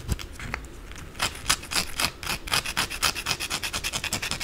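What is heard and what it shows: Long blue acrylic nails quickly scratch and rub the flat face of a white, solid rectangular bar of soap held in the hands, sending shavings falling. Bright, dry rasping strokes start loose and irregular, then settle into a fast, steady rhythm of sharp scrapes toward the end.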